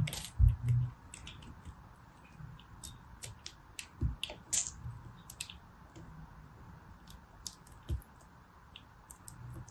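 A small remaining chunk of pressed soap, held between the fingers, is shaved with a small knife blade. Soft, irregular crunchy scrapes and clicks come at a quick, uneven pace, with low dull thumps under bright, crisp flecks. The cuts are short and dry, with little ring after each one.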